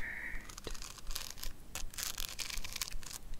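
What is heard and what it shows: Long acrylic nails scratch and tap across the pink rhinestone-covered lid of a small square hand-held compact with a gold metal rim. Bright, crinkly scratching bursts mix with quick clicking taps in an uneven rhythm. A faint steady tone is heard at the very start.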